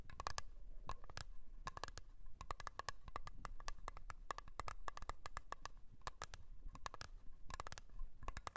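Long nails tap and scratch the lid of a small round blue metal Nivea cream tin standing on its edge. Quick, sharp clicks come in irregular bursts, each with a brief metallic ping near 1.1 kHz that dies away almost at once. Soft scratching and a low, steady rumble sit underneath.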